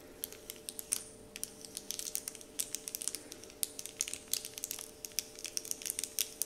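Fingertips and nails scratch and crinkle the surface of a large, flat, heart-shaped wrapper sheet printed with "Dove," likely foil or paper, lying on a wooden table. The result is a steady stream of dozens of sharp, dry, bright crinkles and ticks that stop instantly, with almost no low end beneath a faint constant hum.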